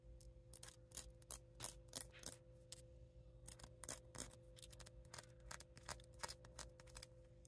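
Fingertips and short nails scratch and tap across a palm-sized solid cement sphere, held in one hand, that is covered in raised, multicolored concentric-circle inlays. Irregular, sharp, bright clicks and brief scratchy rasps die away almost instantly. A steady low hum and faint tones sit underneath.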